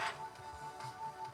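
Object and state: Nothing is struck.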